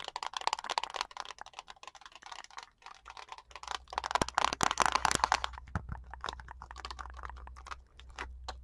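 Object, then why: Small plastic TV remote with rubber buttons. Long nails tap and scratch along the body of a small black plastic TV remote with a hollow shell and rubber buttons. Rapid, irregular clicky taps and dry scratching sit in a bright midrange, with a denser, louder flurry of scratches in the middle. A faint low hum runs underneath throughout.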